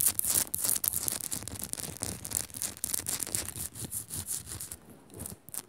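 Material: Rock salt.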